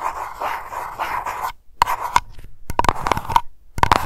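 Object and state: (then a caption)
Glass candle jar tapped with nails. Long nails tap fast on a small glass aroma candle jar labeled Lavender and filled with wax. A rapid brushing rattle gives way to short, sharp clicks with a bright ringing tone near 950 Hz, each dying out almost at once.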